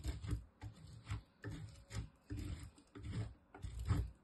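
A small solid green bar of soap, held with long nails, is grated on a metal box grater, and green soap shavings fall onto the table. Six dull, rasping scraping strokes come in an uneven rhythm, with most of their weight in the low range and little brightness.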